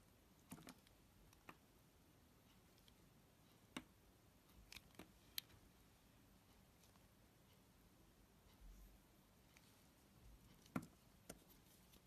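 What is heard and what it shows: A yellow utility-knife blade shaves and scrapes thin slices off the edge of a solid, hand-sized, oval amber translucent Pears glycerin soap bar held in the fingers. Quiet, sparse, irregular crisp clicks and short bright scrapes rise above a low, steady background hiss, each dying away almost instantly.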